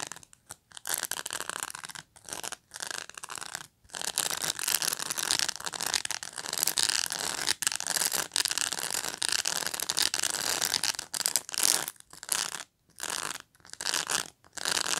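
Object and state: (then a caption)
Plastic pet brush. Fingernails scratch and rub through the plastic bristles of a black pet brush. The result is a bright, dry, crackly rasping in long bursts broken by brief silent pauses.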